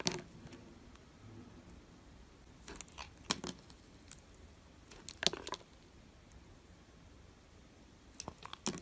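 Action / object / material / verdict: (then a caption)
scrape / glycerin soap bar / glycerin soap / none. A metal blade scores and scratches shallow lines across a solid, translucent, yellow, oval, palm-sized glycerin soap bar held in one hand. Short, crisp, bright scraping strokes come in clusters, separated by quiet stretches with a faint low hum.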